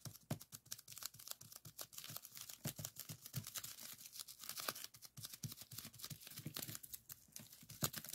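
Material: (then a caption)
Plastic. Several fingertips rapidly press and pop the bubbles on a folded strip of clear plastic bubble wrap lying on a table. A dense stream of sharp, bright pops and crinkly crackles follows, each snap short and dry with almost no ring, at an uneven, quick pace throughout.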